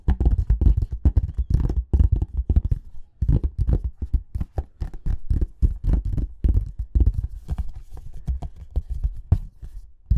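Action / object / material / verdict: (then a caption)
tap / small cardboard box / cardboard / none. A small, hollow white cardboard earbuds box is turned in the hands and tapped and scratched with short fingernails and fingertips. Quick, dense runs of dull, hollow taps with a deep, boomy low end die away almost instantly, with brief pauses between bursts and faint scratchy texture on top.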